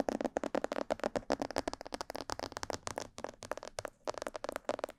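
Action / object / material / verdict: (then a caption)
tap / plastic mannequin head / plastic / none. Long nails and fingertips tap quickly on the sides, ears and back of a hollow, glossy black plastic mannequin-head microphone. The result is a fast, steady run of short, hollow clicks with a mid-range knocking tone, very little bass, almost no ring, and a brief gap before the tapping resumes.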